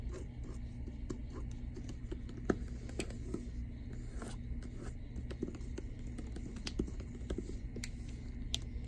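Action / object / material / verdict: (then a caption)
scrape / hardcover book with plastic-covered dust jacket / plastic, cardboard / none. Fingertips and nails scratch and tap across the plastic-covered dust jacket of a solid, medium-sized library hardcover book, "Come August, Come Freedom," lying flat on a desk. Soft, dry scratching runs throughout, broken by short, sharp taps, over a steady low hum.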